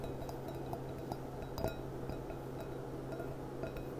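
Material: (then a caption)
Glass. Long dark nails tap both sides of the bowl of a small, clear, upside-down, hollow, empty stemmed glass goblet with a gold band. The result is a series of quiet, light clinks with a short ring near 650 Hz. A steady low hum sits underneath.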